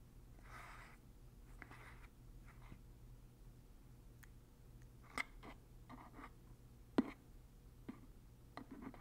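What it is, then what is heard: Plastic lotion pump bottle. Fingertips turn and press the plastic pump head on a large white plastic Lubriderm lotion bottle with a blue pump top, making repeated soft clicks and brief scraping sounds. The clicks are short and dry, with a few sharper snaps standing out. A steady low hum sits underneath.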